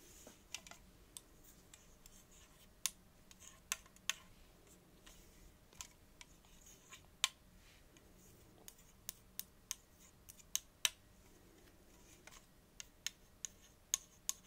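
A small, hollow Diet Coke aluminium drink can is held in one hand and tapped with the long acrylic nails of the other hand. The taps are quiet, sharp and bright clicks, around 22 of them, spread unevenly over a faint hiss and dying away almost at once.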